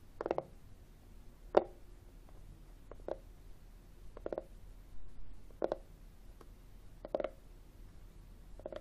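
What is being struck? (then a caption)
Plastic external CD drive casing. Fingertips with short nails tap and scratch the top surface of a hollow, textured black plastic external CD drive held tilted. A series of short, dull, hollow knocks with a low-mid resonance near 540 Hz, spaced apart and mixed with a brief soft scratch, each dying away almost instantly against quiet background hiss.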